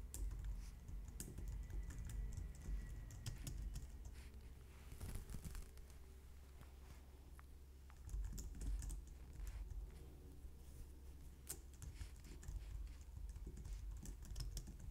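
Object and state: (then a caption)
Plastic computer keyboard. Long nails type quickly on a white low-profile plastic computer keyboard, heard up close. Quiet, steady keystroke clicks and taps run throughout over a dull low thump, with a few brighter, sharper clacks standing out.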